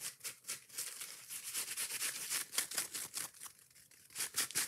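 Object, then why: Foam kitchen sponge with scouring pad. Long nails rapidly scratch and tap the soft yellow foam side of a kitchen sponge with a scouring pad, held up close. The result is a string of quick, bright, hissy scratching bursts with almost no low end, each fading almost at once.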